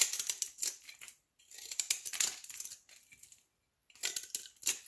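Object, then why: Olive soap block scraped with a knife blade. A utility knife blade scrapes and shaves the face of a solid olive soap block held in the palm. It makes quick runs of crisp, bright, crackly scratching with almost no low end, separated by short pauses. The flakes come off in dry, brittle bursts that stop abruptly with no ring.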